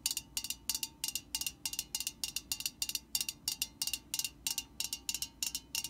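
Long nails tap the metal body of an aerosol spray can held at an angle, making a quick, slightly uneven run of bright, clicky taps. Each tap is short and dry, with a faint high metallic ring that dies almost at once.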